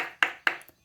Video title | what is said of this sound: INCRÍVEL E DELICIOSO! FAÇA ASSIM O SEU HAMBÚRGUER DE FORNO E SURPREENDA A TODOS! Faça e venda | Quando eles estão congelados, eles ficam assim, ó. Com som de pedra.